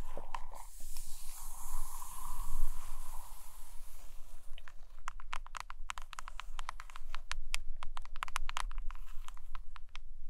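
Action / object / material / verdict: scrape / hardcover book with glossy cover / cardboard / none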